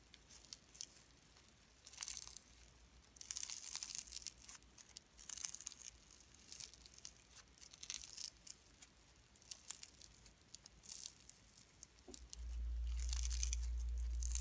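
Pink slime mixed with fine shredded cellophane strands is stretched and kneaded between the fingertips of both hands. It gives bursts of bright, crisp crinkling and tearing-like crackles in quick, fairly regular pulses. Near the end, a steady low hum rises underneath.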